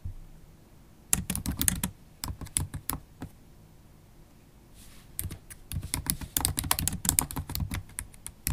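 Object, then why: Laptop keyboard, plastic keys in aluminium body. Long acrylic stiletto nails type on a MacBook Pro keyboard with black plastic keys set in an aluminium body. Quick, irregular clicks and taps come in two bursts, each with a bright tick and a soft low thump. A quiet pause with a faint brief rustle separates the bursts.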